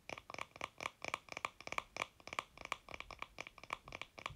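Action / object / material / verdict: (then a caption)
tap / small painted wooden block / wood / none. A small, solid painted wooden block sign is held in the hands and tapped and scratched with fingertips and nails across its faces and edges. Around two dozen quick, dry taps and scratchy strokes come in a steady irregular stream. Each is quiet and bright with an almost instant decay and a faint woody ring near 1.1 kHz.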